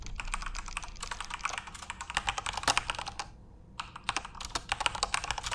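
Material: Plastic.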